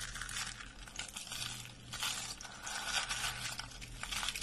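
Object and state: Dry soap curls crushing.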